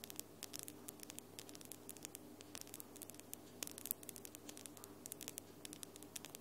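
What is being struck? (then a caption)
Long acrylic fingernails, nail on nail. Long glitter acrylic nails are tapped against each other, nail on nail, producing dozens of quick, dry, bright clicks in an irregular rhythm. The clicks sit over a quiet, steady low hum.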